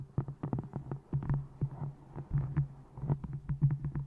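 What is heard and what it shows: A small hardcover book with a textured brown faux leather cover is held upright in front of a microphone and tapped with long nails and fingertips on its face and top edge. A quick, uneven run of soft, dull taps sounds low and hollow, with a steady low hum beneath and almost no bright content. Each tap dies away almost at once.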